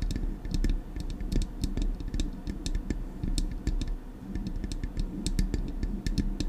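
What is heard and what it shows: Long acrylic nails rapidly tap the metal casing of a silver Blue Yeti microphone. Quick, sharp clicks with bright, dry ticks ring out over a dense, low, booming thud. The taps run steadily throughout with almost no ring.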